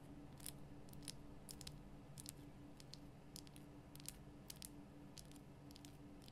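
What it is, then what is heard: Himalayan salt lamp. Long nails tap the lower sides and top of a large, lit pink Himalayan rock-salt lamp, a solid rough crystal block. The result is a quiet series of short, bright, crisp clicks over a steady low hum.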